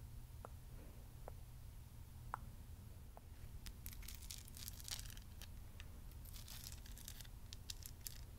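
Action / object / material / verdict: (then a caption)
tap / amethyst crystal cluster / amethyst / none. Long nails tap and scratch the purple crystals of a solid amethyst cluster, first seen up close and then held in the hand. A few sharp, isolated clicks with short tonal pings near 1 kHz give way to denser bursts of bright, scratchy rasping. All of it sits quietly over a steady low hum.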